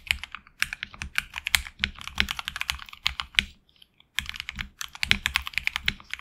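Fingertips type rapidly on a HyperX Alloy Origins Core mechanical keyboard with HX Red switches and backlit black and red PBT keycaps, heard close from the side. Bright, crisp keystroke clacks come in fast bursts with very little low thump and no ring after each press, with a brief pause around the middle before typing resumes.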